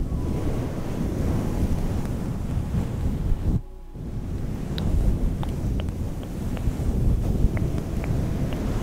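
Long painted nails and fingertips of both hands scratch and squeeze a soft, hollow, fluffy synthetic fur microphone windscreen. The result is a steady, dense, low, muffled rumbling rustle, with faint bright ticks scattered throughout. A brief quieter gap comes just past the midpoint.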